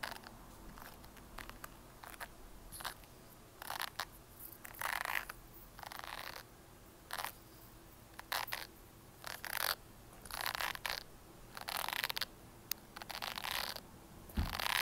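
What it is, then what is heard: Plastic hairbrush. Long nails and fingertips scratch and flick the white bristles of a red plastic hairbrush held upright close to the mic. Irregular bursts of bright, crackly bristle scratching alternate with quiet pauses. Short sharp flicks snap out between the longer rasping strokes.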